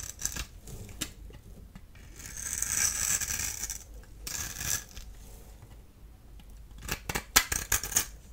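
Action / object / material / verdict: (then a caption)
scrape / bar of soap / soap / none. A small blade tool scrapes a solid, dry bar of blue, white and yellow striped soap held in the hand. Soft, crisp hissing shaves swell and fade, followed by a cluster of sharper, bright scraping clicks near the end. The sound is dry and high-pitched with very little low end.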